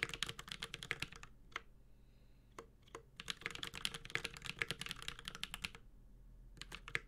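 A Space65 Cybervoyager 65% mechanical keyboard with an aluminum case, ABS keycaps and Holy Panda switches is typed on with the fingertips of both hands. Quick bursts of crisp, bright, clacky keystrokes with very short decay are broken by brief pauses around the second and sixth seconds. A low, steady hum sits underneath.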